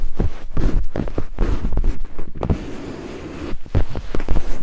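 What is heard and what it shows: Two thin wooden picks held in the fingertips tap rapidly on white silicone binaural microphone ears. The result is a stream of deep, muffled thumps that sit almost entirely in the low range. Each thump is very short, with a brief quieter lull before the tapping speeds up again.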